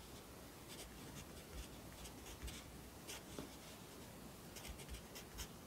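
A yellow wooden pencil held in the fingers writes across the page of an open lined paper notebook lying flat on a desk, its graphite scratching on the paper. Soft, bright scratchy strokes come in short bursts over a quiet, steady low hiss.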